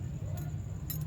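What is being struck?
Steel piston ring.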